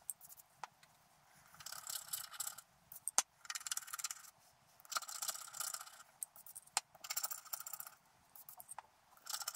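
A wooden stylus scratches the coating of a thin coated scratch art card while the other hand steadies the card. Bursts of bright, dry scratching alternate with short quiet pauses, punctuated by sharp little ticks and clicks. The sound is entirely high and thin, with no low end.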